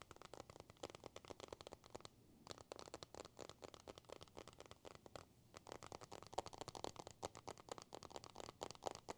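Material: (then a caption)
Glass, metal. An iPhone with a glass screen and a metal body is held in the hands and tapped and scratched with a thin white stylus and the fingers. The result is a rapid run of quiet, sharp clicks and scratchy taps, with brief pauses around two and five seconds.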